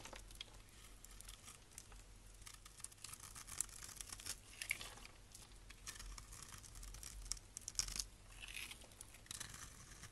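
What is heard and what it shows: A blade scrapes and carves crunchy grid-cut cubes off the surface of a solid rectangular bar of blue and white striped soap held in the hand, with another soap bar lying in the background. The sound is a quiet, continuous run of bright, crisp crunching and scratching with sharp little crackles, over a faint steady low hum.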